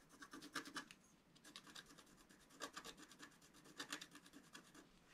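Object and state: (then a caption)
Scratch-art paper being scratched. A pointed wooden stylus scratches near the bottom of a thin, black, wax-coated scratch-art paper sheet lying flat and solid on a table. Quick, dry, raspy scratching strokes come in short bright bursts, grouped into clusters with quiet gaps between them. There is almost no low-end body.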